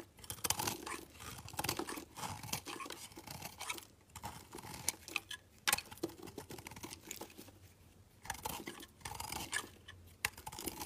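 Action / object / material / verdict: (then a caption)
scrape / bar of soap / soap / none. A solid pink layered bar of soap, held in the hand, is carved into thin slices and cubes with a metal box-cutter blade. Crisp, bright scraping and crunchy cutting strokes come in dense bursts with brief quiet pauses between them.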